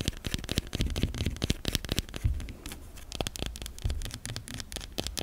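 Long nails scratch and scrape across the curved surface of a white solid soap bar. The result is a rapid, uneven series of short, dry scratching and ticking strokes with a soft low thump beneath and bright, gritty edges that die away almost instantly.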